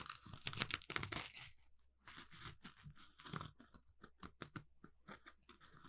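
An orange smiley-face Scrub Daddy sponge of textured polymer foam, palm-sized and held in both hands, is scratched with the fingertips and nails. A dense burst of bright, dry, crackling scratches opens the clip, then a brief silence near two seconds. A steady series of short, crisp scratches follows.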